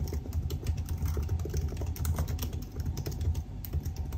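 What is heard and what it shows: Fingertips type steadily on the black plastic keys of a silver aluminium laptop, giving a fast, continuous run of soft, short key taps. The sound is dull and low, with a steady low hum around 90 Hz underneath and almost nothing bright.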